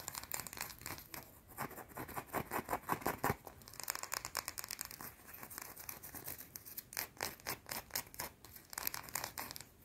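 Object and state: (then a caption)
Solid soap bar scratched and tapped. A round, flat, solid white soap bar held in the hands is scratched with long teal nails, producing a fast, dense run of short, dry scraping and tapping clicks. Each stroke is bright and crisp, with little low end. The strokes come in quick bursts with brief pauses between them.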